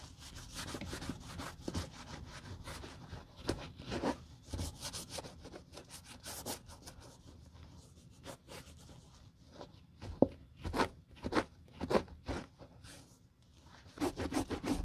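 A grey terry cloth held in a gloved hand wipes and rubs the toe and vamp of a single glossy patent leather Hermès Chelsea ankle boot, hollow and empty, resting on a white table. The result is quiet, irregular cloth-on-leather rubbing: soft swishing strokes mixed with brief bright squeaks, with sharper swipes around the ten-second mark and a denser run of rubbing at the end.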